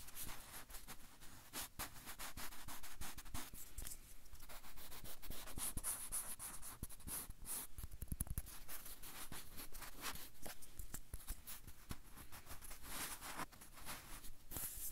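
Fingertips and nails scratch and rub along the peel of a whole, unpeeled banana held beside the recorder. The result is a quiet, continuous, crackly rustle of dry scraping and soft rubbing, dotted with short, sharp ticks and a few brighter squeaky scratches.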